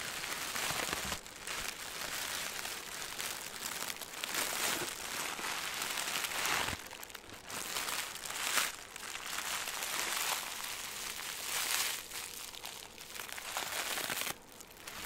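A hand-sized piece of green crinkly plastic film is squeezed and crinkled by fingertips with both hands close to the mic. It makes a dense, bright, continuous crackling with almost no low end, swelling and easing in waves for about fifteen seconds before briefly dropping quieter near the end.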